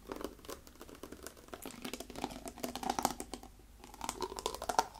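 Fingernails tap and scratch the shoulder and body of a brown plastic water bottle with a yellow-orange label, partly filled with liquid and held in both hands. Rapid, crisp clicks and scratchy crinkles run continuously, with brief bright taps that ring slightly around the upper midrange.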